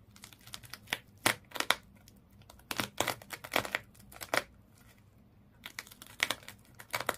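Fingers and nails scratch and rub the body of a small fish toy wrapped in colored twisted sisal or jute rope, lying flat. Quick bursts of dry, bright, crinkly scratching come in clusters, with brief quiet gaps between them. There is almost no low end.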